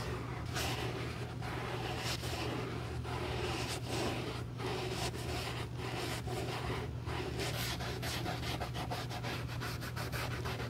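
A cotton swab held in metal tweezers rubs and wipes the surface of a light grey, chevron-quilted leather YSL College shoulder bag, medium-sized, hollow and soft, near the flap and corner while a gloved hand steadies the bag. The result is a continuous soft, papery scrubbing with brief pauses between strokes over a steady low hum.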